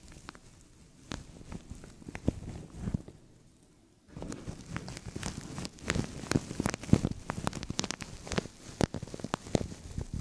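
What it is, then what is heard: Thin plastic bag crinkled and scratched over a microphone. Fingernails scratch and fingertips crinkle a thin, translucent plastic bag stretched over a microphone, making close, dense crackles and sharp rustling ticks. The sound pauses briefly to near silence around the third second, then returns busier and louder with snappy crinkles over a low, bassy rumble.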